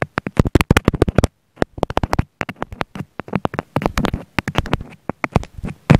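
A wooden pick held in the fingers pokes repeatedly into a round pink foam sponge beside a small black mic embedded in it. The result is rapid, muffled, bassy thumps and soft crackly taps, each cut short, with a brief pause after the first burst.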